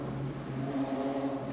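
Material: Nothing is struck.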